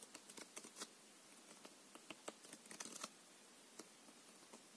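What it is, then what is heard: Plastic-coated playing card deck. A full deck of plastic-coated paper playing cards is held in the hands and riffled along the edge with the fingers. Quick, bright flicking clicks come in uneven bursts, bunching into a dense flutter near the middle before thinning out to a few scattered snaps. There is almost no low end and each click dies away almost instantly.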